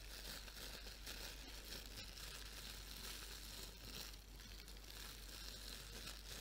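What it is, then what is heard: Plastic bubble wrap. A large sheet of clear plastic bubble wrap, held up in front of the face, is crumpled and rubbed with the fingers. It makes a quiet, steady crinkling and rustling with bright, hissy texture and a low rumble underneath. The sound keeps an even level throughout, with no distinct pops standing out.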